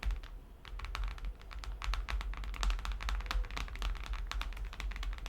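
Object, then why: Hardcover book. Quick, irregular tapping on vintage hardcover Disney children's books, a busy run of light, sharp taps with a short ring over a steady low hum.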